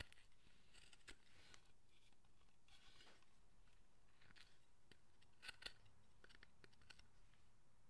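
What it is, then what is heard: Wooden carved figure being cut with a chisel. A steel carving chisel or knife cuts and scrapes the face of a hand-held, pale, unpainted Buddhist guardian figure of solid carved wood, about forearm size, in short strokes. Quiet, crisp scraping and shaving sounds with a bright hiss repeat steadily, and a few sharper clicks stand out near the end.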